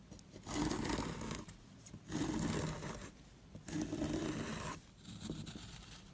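A wooden-handled metal loop tool scrapes across the crumbly surface of a small, solid, square white soap block held in the hand. Three long, gritty scraping strokes are heard, followed by a softer fourth, each a dense, crackly rasp with bright texture over a low rumble, separated by short quieter pauses.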